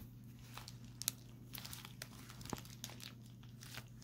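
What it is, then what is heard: Metallic foil bubble mailer. A pink metallic foil bubble mailer is scratched and crinkled with fingertips and short nails, first lying on a table and then held up. Irregular bright crinkling and scratchy rustles come in short bursts over a steady low hum.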